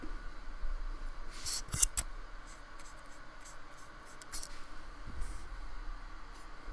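A thin paintbrush rubs short strokes across the bumpy surface of a small painted square of solid white polystyrene foam resting on a wooden table. Quiet, dry, scratchy brushing carries through the clip, broken by a few brief bright swishes.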